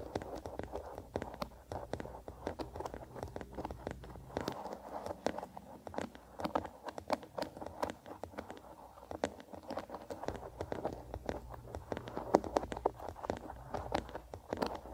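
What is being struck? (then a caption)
Wooden hairbrush with bristles. Fingertips strum and scratch the bristles of a wooden-bodied bristle hairbrush held upright. Quiet, rapid, crackly ticks and scratches overlap in an uneven, dense patter, mostly in the midrange with little deep or bright content. Each tick dies away almost instantly.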